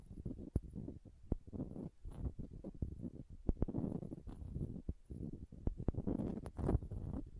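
A small green glass dropper serum bottle with a silver collar and white rubber dropper bulb is held in one hand while long painted nails tap and scratch its glass body. Soft, low, rustling scratches are broken by sharp, quick clicks from nail taps against the glass.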